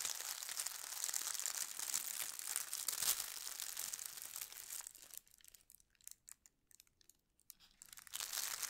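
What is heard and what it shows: Fingertips and long nails press and slide over a thin holly-print tissue paper sheet lying on a table, crinkling the paper. A dense, bright, hissy crinkle runs steadily for about five seconds, then thins to sparse, quieter rustles with near-silent gaps. The full crinkling returns near the end.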